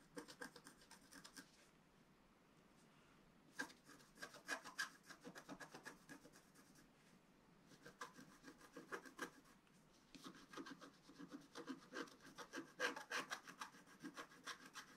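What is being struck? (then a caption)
Black-coated scratch-art paper scratched with a wooden stylus. A wooden stylus scratches a flat, black-coated scratch-art paper sheet in quick, rough, raspy strokes with a bright, hissy edge. The strokes come in bursts of rapid back-and-forth scraping separated by short quiet pauses, staying soft throughout.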